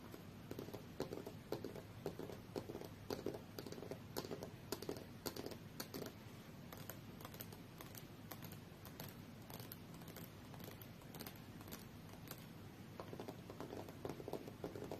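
Long fingernails of both hands tap across the solid, thin aluminium back of a rose-gold tablet lying face-down on a fur rug. The taps are quiet, quick and irregular, with short, dry clicks and a faint mid-pitched knock that dies away almost at once. They keep up a steady, patter-like stream throughout.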